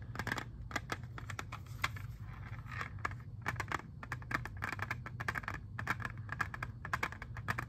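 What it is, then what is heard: Plastic CD jewel case. Fingernails and fingertips tap rapidly and unevenly on a hand-sized, hollow, clear plastic CD jewel case holding an Xbox 360 disc. The taps make sharp, dry, bright clicks with a hollow tone centered around 1.7 kHz, and they die away almost instantly. A steady low hum runs underneath throughout.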